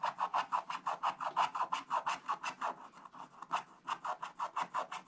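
A thin wooden stylus scratches away the black coating over a Christmas tree on a flat coated paper page of a scratch-art Advent book lying on a table, while the other hand holds the book open. Twenty-seven quick, rasping back-and-forth strokes with a papery midrange scrape come at about three per second, briefly softening and slowing near the middle before picking up again.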